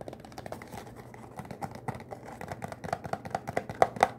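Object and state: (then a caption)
Cardboard soap box. A small green Irish Spring bar soap box made of thin, printed, hollow cardboard is held in one hand and tapped and scratched quickly with the fingertips of the other hand. The result is a fast, irregular run of dry, papery taps mixed with scratchy rustling, and each tap has a short, hollow, mid-pitched tone. The taps grow louder and sharper toward the end.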